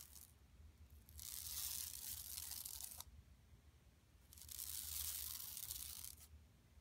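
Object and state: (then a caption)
Woven plastic mesh shopping bag. Long nails scratch across a flat, empty yellow woven plastic mesh tote bag lying on carpet, over its bison print. Two sustained bursts of bright, dry, rasping scratching rise and fade, separated by a quieter pause. A faint low hum runs underneath throughout.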